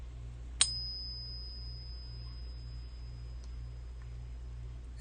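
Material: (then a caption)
Silver. A silver coin resting in a "pocket pinger" device is struck once, by a flick or a tap from the device's included beating stick, giving a sharp ping. A clear, high, pure tone then rings on faintly through the rest of the clip over a steady low hum. The ping test checks whether the coin resonates the way a truly 90% silver coin should, but its authenticity is not confirmed.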